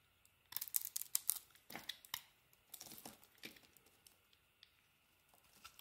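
A solid, hand-sized white soap bar with remnants of a striped coating is carved and chipped with a metal utility knife blade, and chunks break off. Quiet, dry scraping and crisp crackling bursts come in irregular clusters, bright and high with almost no low end, each snap dying away instantly.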